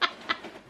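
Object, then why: Cardboard box of plastic Lego bricks. A wrapped birthday present holding a boxed Disney Lego set is shaken, and the plastic bricks rattle inside. Two short, bright bursts of rattling are heard, followed by a faint settling rustle.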